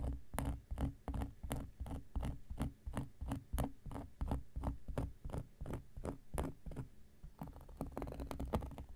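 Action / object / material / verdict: scrape / round cork coaster / cork / none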